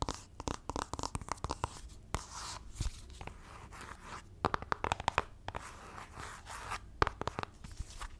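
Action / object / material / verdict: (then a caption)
tap / cardboard palette box / cardboard / none. Long nails rapidly tap and scratch a flat black LORAC makeup palette box, likely cardboard, held upright and then laid flat close to the microphone. Sharp, dry clicking taps come in quick bursts over stretches of rough, hissy scratching, with a bright, crunchy texture throughout.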